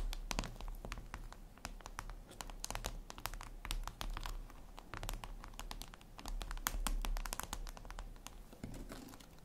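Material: Glass.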